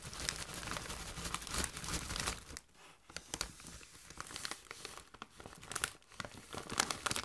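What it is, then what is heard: Metallized plastic chip bag being crinkled. A Doritos chip bag made of metallized plastic film, partly full of chips, is held and squeezed by hand. It gives dense, bright crinkling and rustling with sharp crackles, briefly quieting near the three-second mark before the crinkling builds again.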